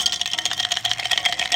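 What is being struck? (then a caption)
Glass cup. A glass cafe cup is tapped repeatedly, giving a bright, clear ringing tone unlike the dull sound of a Tritan cup. The taps come in quick succession, each with a short, high ring.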